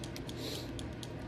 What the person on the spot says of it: you can hear there's a little mixing ball in there